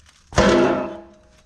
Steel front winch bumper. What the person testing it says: That sounds solid. Woo! Sounded solid for sure.